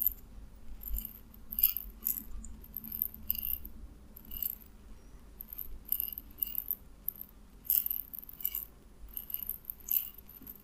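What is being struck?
Small glass bottle holding small hard pellets.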